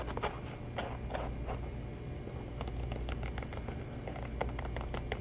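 A black flat shoe with a fabric upper and rubber sole is held in both hands while fingertips and nails tap and scratch rapidly along it. The result is a quick run of soft, dull taps and scratchy brushes over a steady low hum.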